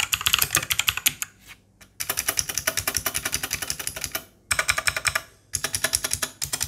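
Both hands type with their fingertips on a white 60% Langtu G1000 RGB mechanical keyboard with plastic keycaps (2.4G, Bluetooth 5.0 and Type-C connection). Rapid bursts of bright, short plastic clacks are broken by brief pauses, and at the end one hand presses keys at the right edge.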